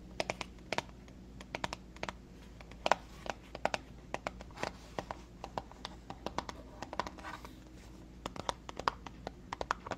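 A small, hollow cardboard box with a floral print is turned in the hands and tapped and scratched with long fingernails. Quick, dry, irregular clicks and taps come in clusters over soft scratchy rustling, with almost no ring, above a faint steady low hum.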